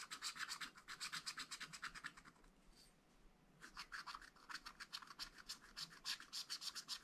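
A wooden stylus scratches the black coating off a wax-coated scratch-art paper pad lying flat, in short strokes. The result is a rapid run of bright, dry scratching strokes that fades into a brief lull in the middle before the quick strokes resume.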